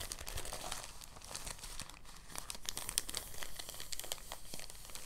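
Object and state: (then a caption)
Thin plastic bag crumpled. A thin, translucent, empty plastic bag is pinched and crumpled between fingers. Soft, steady crinkling fills the clip, made of many brief, bright crackles layered over a quiet low rustle.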